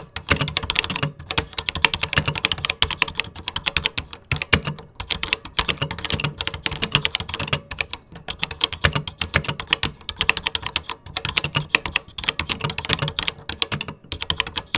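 Fingertips type steadily on a vintage 1980s computer keyboard with cream plastic keycaps. The result is a continuous stream of sharp, bright plastic clicks that die away almost instantly, with a little low thump under each keystroke. The typing stops for a moment every few seconds.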